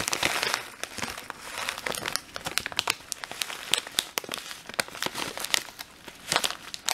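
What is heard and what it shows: Fingertips rub and scratch the printed plastic of a full red and clear plastic bag of dried lentils, crinkling the bag. The result is a dense run of sharp, bright crackles and crinkles with quick bursts and almost no low end.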